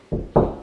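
Two knocks on a hollow plasterboard wall, checked to choose plasterboard anchors for mounting shelves. Each knock gives a dull, hollow thud with low-mid body, no high content and a short decay, and the second knock is louder than the first.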